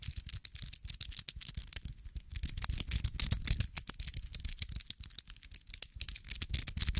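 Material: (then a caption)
Metal. A small, dark metallic infinity cube with solid hinged blocks is flipped over and over with the fingertips. It produces a rapid, uneven stream of sharp, bright rattling clicks over soft low thuds. The clicks stop instantly with no ring.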